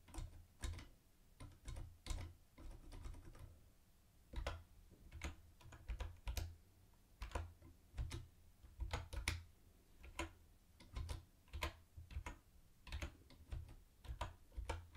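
Fingertips type on a mint-green plastic typewriter-style keyboard with round white plastic keycaps and a hollow body. Quick, uneven clusters of short, bright clicks sit over a low, hollow thump at each keystroke, with brief pauses between bursts.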